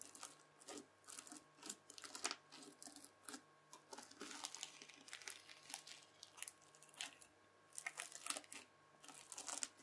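A white plastic fork stabs, scratches and lifts a red, bead-packed floam slime. It makes a quick run of crisp, bright crunching and crackling bursts with short pauses between them, over a faint steady hum.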